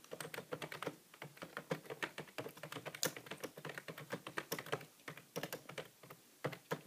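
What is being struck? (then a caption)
Plastic computer keyboard. Continuous two-handed fingertip typing on a grey, hollow plastic computer keyboard with plastic keys. The dense key-press taps come in quick bursts, each short, sharp click carrying a bright top and a light hollow body.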